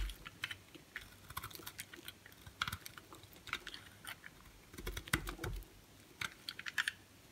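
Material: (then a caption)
Soap. A utility knife blade shaves thin slices off a solid white bar of soap with a pink rim held in the hand, in scraping cuts. The result is a quiet, irregular run of short, crisp scraping clicks with bright edges and a faint low thump under some strokes.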